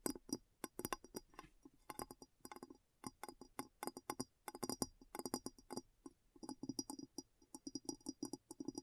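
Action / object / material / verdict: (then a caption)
tap / glass bowl / glass / none. A glass bowl is tapped with a long, uneven run of quick taps, giving bright, high clinks over a low ring near 250 Hz. Each tap dies away almost at once, leaving brief gaps of quiet between bursts.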